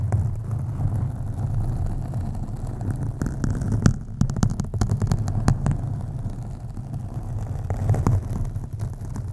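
Long acrylic nails on both hands scratch a black foam windscreen on a USB microphone. The result is a steady, muffled, low rumble centered around 100 Hz, with sharp bright clicks scattered through the middle of the clip.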